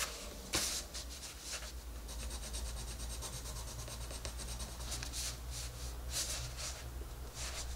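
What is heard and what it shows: A green wooden colored pencil colors a paper coloring book page lying flat, making steady scratching and rubbing strokes. The strokes come in repeated bright, papery bursts over a constant low hum.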